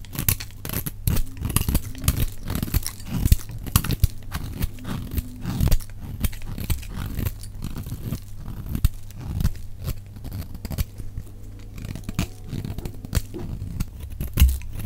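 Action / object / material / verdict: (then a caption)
scrape / bar of soap shaved with a metal blade / soap / none. A solid, dry pink bar of soap is held in the hand and shaved with a metal utility knife blade, the shavings piling up below. Quick, dense scraping and crunching strokes follow one another with little pause, mostly dull and low with a steady low hum beneath.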